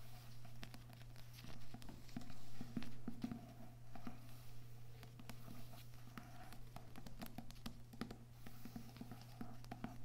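Fingers softly tap on books with paper and cardboard covers in a quick, uneven patter of light, dull taps, some sharper than others. The taps sit over a steady low hum and fade quickly.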